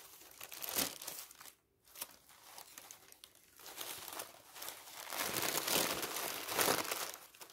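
A large, loose sheet of thin printed white tissue wrapping paper is crumpled and rubbed flat by fingertips and palm. Dense, bright crinkling and rustling swells and fades in uneven bursts, with a brief near-silent pause around the 1.5-second mark before the crackling returns and builds louder toward the end.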